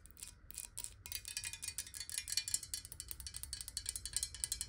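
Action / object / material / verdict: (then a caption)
tap / glass water bottle / glass / none. A clear, square, hollow glass water bottle, partly filled with water, is tapped quickly with long nails. The result is a fast, steady stream of quiet, bright, clicky taps that stop almost at once, with a faint low rumble underneath.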